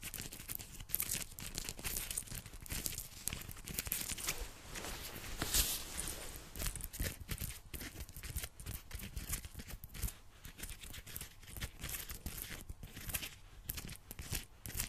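Long painted nails scratch and rub the fabric of a dark, soft, padded quilted nylon puffer jacket being worn, near its metal snap buttons. A steady stream of dense, crinkly scratching and swishing is heard, with bright papery rasps and a soft low rumble underneath.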